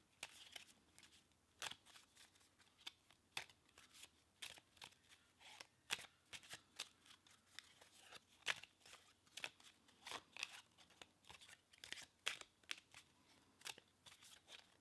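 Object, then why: Deck of paper playing cards. A single deck of red-backed paper playing cards with a linen finish, held as a solid stack in both hands, is riffle-shuffled, bridged and squared with the fingertips. A quiet, steady run of crisp, bright flicks, snaps and soft rustles is heard, each one short and dry with almost no low end.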